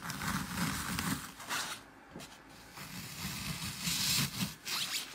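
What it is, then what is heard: Glitter-covered floral foam block being crushed. Fingertips and nails press and crush holes into the porous surface of a dry, glitter-topped green floral foam block. Bright, scratchy crunching and crackling come in uneven bursts over soft low thumps, with a quieter stretch in the middle before the crushing picks up again.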